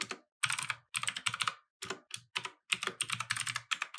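Both hands type with fingertips on a compact mechanical keyboard with plastic keycaps, set on a wooden desk. Bursts of bright, clicky keystrokes arrive in quick runs with short pauses between them. Each click is sharp and dies away almost instantly, with a faint low thump under it.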